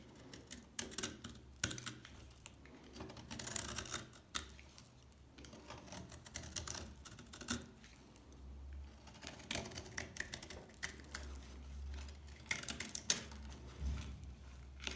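A blade scrapes the chipped surface layer off a solid, dry beige bar of soap, producing a run of dry, crisp scratching and clicking strokes. The sound is bright, with a low steady hum underneath.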